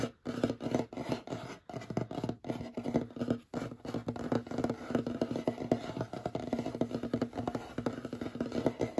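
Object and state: Wooden tabletop.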